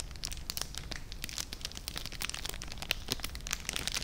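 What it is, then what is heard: Cellophane bag crinkled. A small clear plastic cellophane bag holding treats and tied with red ribbon is held in one hand and crinkled and rubbed with the fingertips close to the microphone. Dense, bright crackling and crinkling fills the clip in quick irregular bursts over a soft low rumble.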